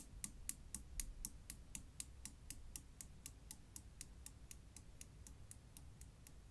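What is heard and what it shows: A Newton's cradle with five solid chrome steel balls swings, giving 26 sharp, bright ball-on-ball metal clicks at a steady pace of about four per second over a low background rumble. The knocks are very short, with almost no ring, and they gradually die down in loudness over the stretch.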